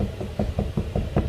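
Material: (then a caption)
Bread. After 45 minutes of baking, an Irish brown bread loaf is tipped out of its margarine-greased tin with a tea towel and tapped on the bottom. Five short, dull, low knocks sound hollow, showing the loaf is baked through.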